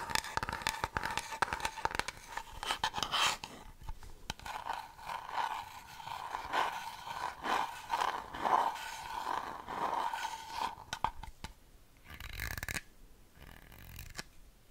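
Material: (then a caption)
Plastic. A medium-size white-translucent plastic nail polish remover bottle with a lilac cap and liquid inside is tapped and scratched with long fingernails. Quick clicky taps come first, then rhythmic scraping strokes that carry a hollow, ringing tone near 940 Hz, before the sound thins out into a few quieter, brighter scratches and taps.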